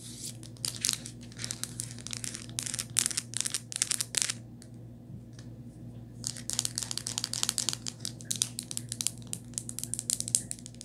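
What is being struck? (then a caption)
Plastic and rubber phone case. Long nails tap and scratch the back and bumper of a rose-gold hard plastic and black rubber phone case with a ring holder. Quick, bright, crackly clicks and scrapes come in dense bursts over a faint steady low hum. They pause for about two seconds midway, then resume just as busily.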